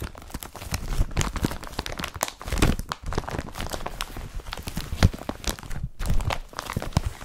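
An empty blue woven polypropylene IKEA BRATTBY carrier bag lies spread flat while both hands rub, scratch and crumple its surface with the fingertips. The result is a dense, continuous crinkling and crackling rustle with soft, dull handling thumps, rising and falling in quick bursts that stop dead without ringing.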